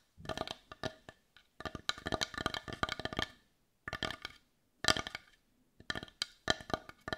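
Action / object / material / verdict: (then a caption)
tap / small wooden bowl / wood / none. Long nails tap the rounded back of a hollow, hand-sized, heart-shaped dark brown wooden bowl in quick bursts separated by short pauses. Each tap is a dry, woody click with a hollow tone near 640 Hz and bright clicky highs, and it dies away almost instantly.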